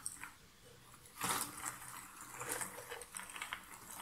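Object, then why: Cardboard jigsaw puzzle pieces in a box lid. Fingers rake through a pile of cardboard jigsaw puzzle pieces in a shallow box lid and pick pieces up. Soft, bright, dry rustling and clicking clatters, with a louder burst of scraping around the middle. The sound stays quiet with little low end and short, dry decays.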